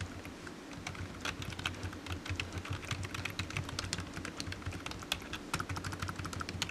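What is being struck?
Plastic computer keyboard.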